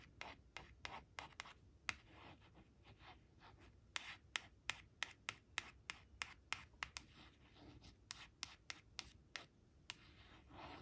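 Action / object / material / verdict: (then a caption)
scrape / laminated cardboard flash card / laminated cardboard / none. Long acrylic nail tips trace and scratch the outlines on a thin, flat laminated cardboard flash card printed with leaves, resting on a fabric surface. About 23 short, bright, crisp scratching strokes stand out over a soft, steady rubbing hiss, each stopping almost instantly with no ring.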